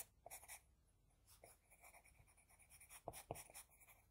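An HB pencil draws hair on a flat sheet of drawing paper. It makes quiet, dry scratching: short, bright rasping strokes with soft lead hiss between them. Two sharper, louder strokes come near the end.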